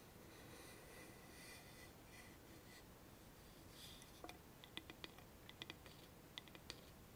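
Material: Wood.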